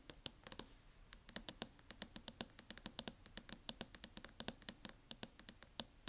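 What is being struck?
Plastic laptop case tapped with fingernails.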